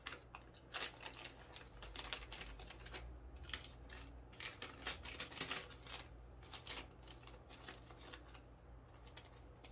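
A small clear plastic bag filled with white zen-garden sand is held over a wooden tray while fingertips grip, crinkle and rub the thin plastic film to open it. The sound is a dense run of quick, bright crackles and rustles, spread through the whole clip over a faint low hum.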